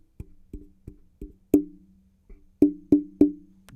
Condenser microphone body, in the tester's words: definitely a hollow shell of a microphone